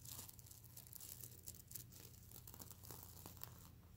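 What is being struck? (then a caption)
Plush pillow with plastic sequins. Fingers and nails scratch across a soft stuffed mermaid unicorn plush pillow, flipping its reversible plastic sequins. This makes a dense, bright, crinkly rasping with quick clicky ticks over a steady low hum throughout.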